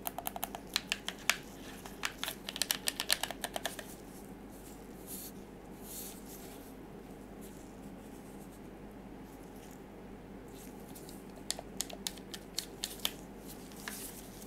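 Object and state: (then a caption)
Plastic game controller tapped. Black-gloved fingertips tap the surface and buttons of a dark grey plastic PS4 DualShock 4 controller, a limited-edition The Last of Us Part II model with a hollow shell, while it is turned in the hands. A quick flurry of sharp, bright plastic clicks and taps fills the first four seconds, then gives way to a quiet stretch of soft handling and low background hiss. A second, sparser run of crisp taps with very short decay follows near the end.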